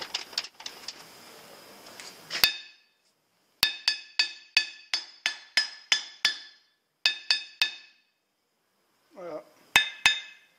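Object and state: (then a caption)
Anvil firmly mounted on wooden stump, ring damped. A steel anvil, newly mounted on a wooden stump, is struck with a hammer in a series of about fifteen sharp, bright metallic taps after a brief stretch of noisy rustling. Each hit dies away almost instantly instead of ringing on, showing the anvil is seated firmly and its ring is well damped by the stump.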